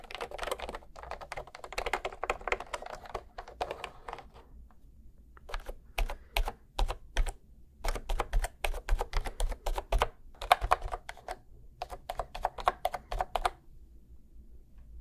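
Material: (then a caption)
Plastic. A cream plastic retro keyboard with round keys, held horizontally between microphones, is typed and tapped on with fingertips. Bursts of quick, crisp clicking keystrokes alternate with short pauses over a steady low hum.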